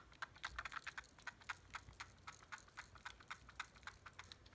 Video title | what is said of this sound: CSM Faiz Gear Review | there's something loose inside the bottom half of the phone